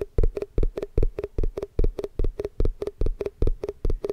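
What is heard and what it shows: Fast, aggressive tapping on a plastic Tupperware food container produces 21 quick, dry knocks at a steady, slightly uneven pace. Each knock is short and thuddy, with a low body and a faint hollow tone around 400 Hz that dies away almost at once.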